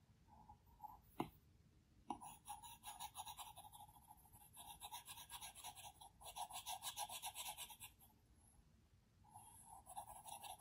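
A plastic Apple Pencil tip makes fast, repeated hatching strokes and taps on the large, flat glass screen of an iPad Pro. Soft, bright, scratchy ticks come in quick rhythmic bursts, with two sharper taps early on. The strokes pause briefly near the end before resuming.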